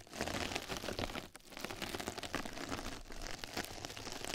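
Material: Plastic mesh.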